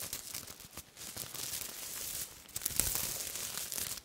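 A large piece of silver-black sequin cloth is held up and rubbed and scratched with fingers and long nails. It makes a dense, bright, crinkling and scratchy rustle, with bursts of sharper clicks and swells that get louder toward the end.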